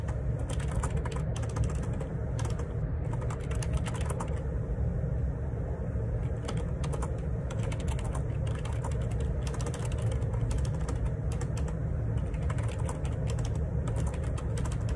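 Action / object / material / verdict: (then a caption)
tap / plastic split ergonomic keyboard / plastic / none. Fingertips type steadily on the plastic keycaps of a black plastic Perixx Periboard 612 wireless Bluetooth dual ergonomic split keyboard with a hollow housing, resting on a desk. A continuous stream of quick, muted key taps runs throughout over a dense low, thumpy body, with only brief bright clicks and no long ring.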